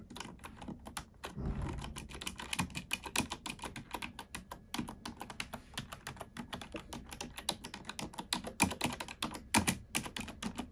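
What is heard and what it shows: Two hands with long nails type with nails and fingertips on a black plastic computer keyboard resting on a wooden desk. The result is a steady, rapid stream of short, crisp clicks and taps with bright highs and a soft low thump underneath. Each keystroke dies away almost instantly.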